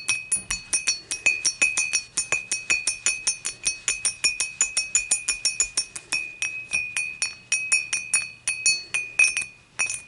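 Fingertips and long nails tap the sides of an empty, upright dimpled glass beer mug in a quick, steady stream of dozens of light clinks. Each tap gives a bright glassy ping centered near 2.5 kHz with high overtones, ringing only briefly before the next strike.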